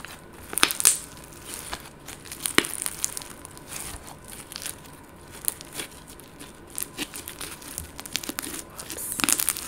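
Green and purple glitter slime, a soft, solid green speckled slime, is stretched, folded and squeezed by fingers with long gold nails. It gives off irregular, crinkly crackles and bright pops over a quiet hiss, with a louder burst of crackling near the end.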